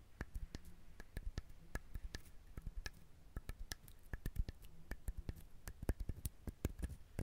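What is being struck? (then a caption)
Husked coconut shell. Fingernails tap and scratch along the ridged shell of a whole brown husked coconut. The result is a quick, irregular run of short, dull knocks, heavy in the low end and dying almost instantly, with soft scratching between them and faint bright clicks on top, all at a quiet level.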